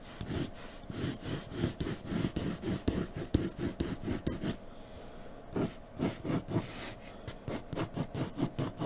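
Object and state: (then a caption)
Pencil shading on drawing paper. A graphite pencil scratches shading strokes across a flat white drawing paper sheet resting on a dark table. About sixteen short, raspy back-and-forth strokes come in a steady rhythm, each a dry scratch with a low, soft body. There is a brief pause near the middle before the strokes resume.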